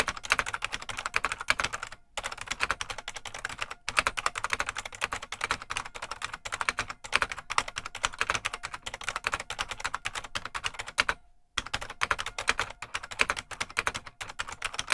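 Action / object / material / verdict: tap / plastic mechanical keyboard / plastic / none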